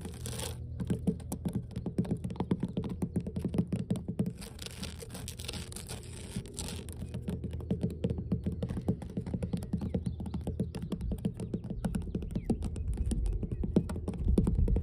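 Long blue nails tap and scratch across large, solid, mossy, weathered wooden dock boards. A steady run of rapid, dull, low knocks with very short decay mixes with soft scraping through the whole clip.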